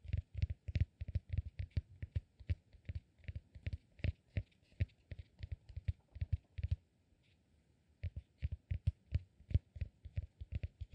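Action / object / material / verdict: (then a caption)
tap / cork peanut massage ball / cork / none. A solid peanut-shaped cork massage ball is held in one hand while the fingernails of the other hand scratch and tap its top. The result is a rapid run of dull, low, close-up taps with short bright clicks riding on top, briefly pausing near the middle before resuming.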